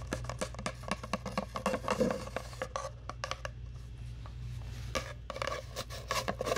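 Long nails scratch and rub along a long, hollow brown cardboard tube held close to the mic. Quick, dry scraping strokes come in dense bursts with a hollow, boxy tone in the midrange, with a pause of softer rubbing in the middle. A steady low hum runs underneath throughout.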